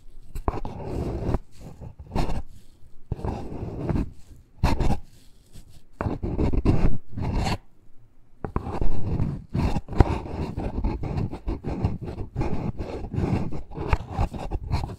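Short nails scratch the side walls of a small, hollow black cardboard necklace package. The result is irregular bursts of dry, rasping scraping with a deep, boomy low end, separated by brief pauses.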